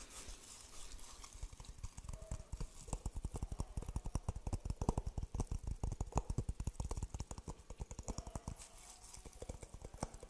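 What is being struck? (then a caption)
Coconut shell half. A dry, hollow coconut shell half with a brown interior is tapped quickly with the fingertips on its husk side. It gives a rapid run of short, dry, hollow knocks with a low, woody thump, like clip-clopping hooves. Each knock dies away almost at once, with faint high hiss between them.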